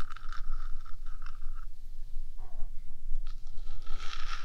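Long gradient acrylic nails on both hands scratch the top of the small, hollow, painted metal body of a 3Dio binaural microphone. The result is a close, continuous scraping rasp with a bright squeal that fades in and out over a steady low rumble.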